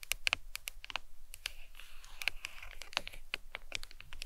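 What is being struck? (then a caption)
Smartphone in hard plastic case. Long acrylic nails tap quickly on the back of a smartphone in a glossy leopard-print hard plastic case resting on a towel. The result is a rapid, uneven stream of sharp, bright clicks that stop dead with no ring, centred around 2.7 kHz, over a faint soft rustle.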